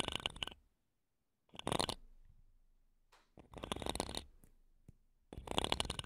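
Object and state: Metal microphone mesh grille.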